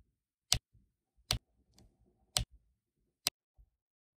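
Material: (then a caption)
Resin. Black resin drills are pressed one by one onto an adhesive diamond painting canvas with a pink plastic drill pen. Four sharp, bright taps sound at uneven intervals, each dying away almost instantly, with faint low rustling in between.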